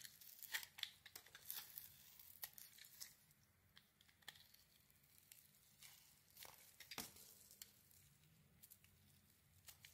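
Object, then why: Soap bar shaved with a metal blade. A metal craft blade shaves thin strips from a solid, white, glittery, palm-sized rectangular soap bar held in the hand. The result is a quick, irregular run of dry, bright scraping and crinkling cuts with short crisp clicks. It is quiet and has almost no low end.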